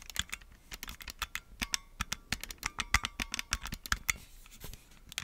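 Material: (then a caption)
Plastic. Red and blue plastic Nintendo Switch Joy-Con controllers, attached to a black plastic grip that is hand-sized and hollow, are held in both hands and tapped and scratched with fingertips and nails. The result is a steady patter of sharp, bright, dry plastic ticks and clicks mixed with scratchy rasps, each dying away almost at once over a faint low hum.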